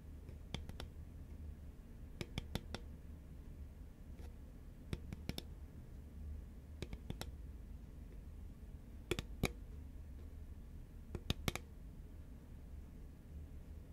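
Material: Paperboard.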